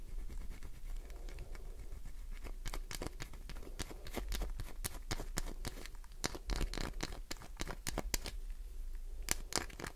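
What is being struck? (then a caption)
Glycerin soap bar. Long nails scratch the shaving-covered surface of a solid green glycerin soap bar held in the palm. The scratching comes as a rapid series of crisp, dry strokes and clicks with a bright, crackly edge, over a steady low hum.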